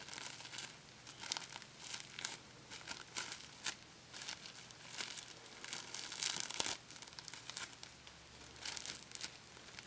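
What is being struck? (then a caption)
Plastic packing tape. Crumpled clear plastic packing tape, a thin sticky film, is pulled apart and stretched between fingertips close up. It gives bright, crisp crinkling and tearing bursts with almost no low end. The bursts come in uneven waves over steady quiet hiss, loudest near the end.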